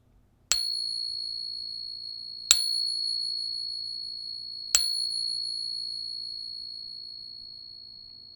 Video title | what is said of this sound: The Ping Test - Ep. 5/5 How To Test Your Coins | this is what a real morgan dollar sounds like